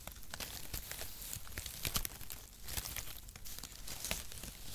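Brown mesh-cut cardboard packaging shreds are crumpled in the fingers, then pulled apart into strips and swung in the hand. The result is a steady stream of dry crinkling and tearing with bright, crisp crackles over a soft low rustle, with a few louder snaps.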